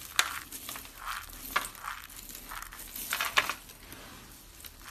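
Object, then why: Soap chips. Fingers scoop, squeeze and crush a pile of small, brittle, blue and lime-green dry soap chips on a wooden table. The result is bright, crisp crunching and crackling with short, sharp snaps.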